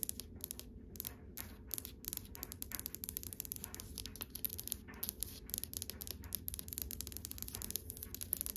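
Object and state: Wooden drawer front tapped with fingernails.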